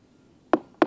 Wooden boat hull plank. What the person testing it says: it's not solid one of the bungs has come out right here